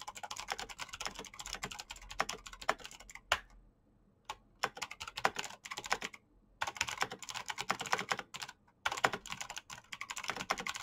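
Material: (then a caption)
Plastic. Fingertips type fast on the keycaps of a black plastic mechanical keyboard with clicky green switches. Dense bursts of sharp, bright clicks clatter with almost no ring, broken by a few brief pauses of near silence.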